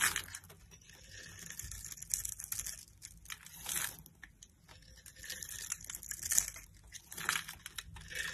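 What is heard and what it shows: A metal utility knife blade scrapes across a solid pink soap bar held in the palm, its surface scored in a diamond pattern, carving off the cubes as crunchy chips. Bursts of dry, bright crunching and crackling rise and fall in waves with quiet gaps between them, with little low end and no ring after each scrape.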